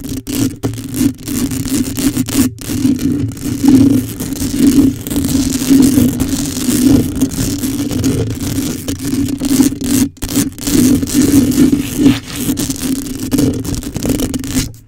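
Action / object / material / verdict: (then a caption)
scrape / metal wire-mesh microphone grille / metal mesh / none. Long nails on both hands scratch quickly over the top and sides of a hollow black metal wire-mesh microphone grille. The result is a dense, continuous rasping scrape with a steady low-mid tone around 260 Hz. Brief dropouts and a few near-silent gaps break up the texture.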